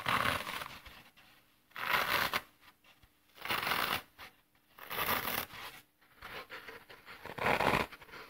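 A brick-sized rectangular block of dry, solid, porous and brittle green phenolic floral foam is held in both hands over artificial grass and pressed with the thumbs, leaving dents. Each press gives a dry, crunchy, crackling crush with bright, hissy texture, separated by short quiet pauses.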